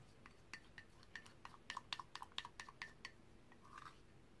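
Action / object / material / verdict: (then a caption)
strike / ceramic mug / ceramic / none. A brush is stirred through green paint inside a white ceramic mug held by its handle, tapping against the ceramic walls. About fifteen quiet, bright clinks come at an irregular pace, each dying away almost at once. The clinks end in a brief soft swirl near the end.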